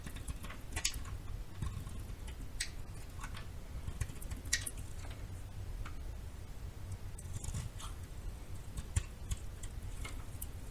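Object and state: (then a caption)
Bar soap being scraped and cut. A metal knife scrapes and cuts a narrow, solid yellow bar of soap held in the hand. Short, crisp scraping and cracking ticks with bright edges sound at irregular intervals over a steady low hum, each one dying away almost instantly.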